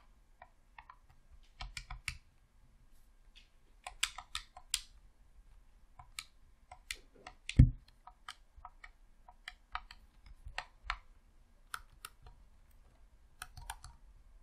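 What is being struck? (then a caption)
Plastic game controller. Fingertips press the D-pad and buttons of a hollow, red plastic Xbox controller in rapid, irregular clicks. The quiet, sharp, bright plastic clicks come with dull low thumps and die away almost instantly. One louder click with a deeper thud stands out midway through.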